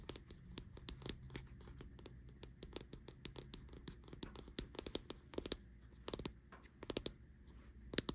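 Long nails scratch and tap the base and sides of a white plastic deodorant stick held on a bedsheet. Quiet, rapid, crisp clicks and scratchy rasps come in uneven bursts, each dying away almost instantly, over a low, steady background hum.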